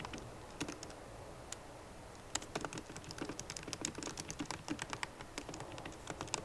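Long nails and fingertips of both hands type on a MacBook Pro keyboard with plastic keycaps in an aluminum body. A few scattered taps give way after about two seconds to quick, steady typing. The clicks are short, bright and dry, over a faint background hiss.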